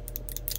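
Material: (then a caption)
Metal. A capped bottle of metallic color-shift paint is shaken by hand to remix the pigment settled at the bottom. Its metal mixing ball bearing rattles inside in about four bright clicks over a steady low hum.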